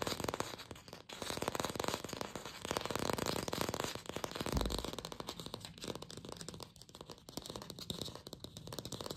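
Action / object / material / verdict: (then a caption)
tap / artificial plastic apple / plastic / none. A glossy red artificial apple, likely hollow plastic, is held in the hands and fast-tapped with long pink fingernails. The result is a dense, continuous stream of rapid, dry clicking taps with a hollow midrange tone and bright edges, each tap dying away almost instantly.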